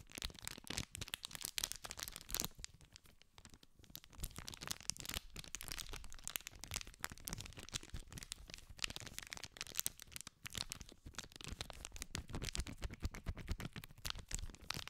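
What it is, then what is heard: Cellophane-wrapped cardboard pack. A small green cardboard candy pack in clear cellophane wrap is held in both hands while fingers scratch and rub the wrapper. Dense, continuous crinkling and crackling is heard throughout, bright and sharp, with quick snapping bursts over a low rumble.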